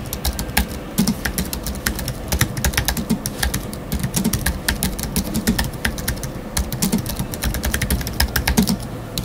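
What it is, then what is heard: Aluminium and plastic computer keyboard. Fingertips of both hands type rapidly on a space grey Apple Magic Keyboard 2 with numeric keypad, its thin aluminium body and black plastic keys resting on a wooden desk. A steady, dense run of short, crisp key taps is heard, each with a bright click over a low, muted thud that dies away almost instantly.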